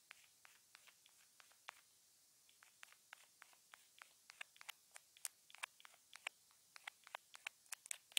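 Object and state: Plastic earphone remote tapped.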